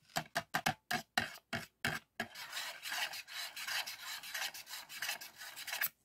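Fingertips and nails scratch across a thin, flat, printed polycarbonate DVD disc resting in an open black plastic DVD case. A series of short, separate, bright raspy strokes gives way to continuous, rapid rubbing and scratching. The bright, dry filing texture stops abruptly at the end.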